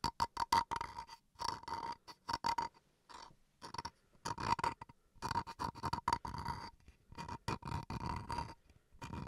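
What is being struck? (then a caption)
Small bamboo wooden cutting board. Fingernails scratch and tap the grained face and edge of a small, solid bamboo wood chopping board. Quick clusters of crisp taps alternate with longer raspy scratching bursts, each carrying a short hollow ring around 930 Hz with brief pauses between.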